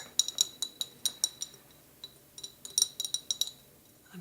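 A tiny glass milk jar marked "dairy" with a little cow on it is tapped and clinked in two quick bursts with a short pause between them. Each contact is a bright, high glassy clink that dies away almost instantly, with nothing in the low end.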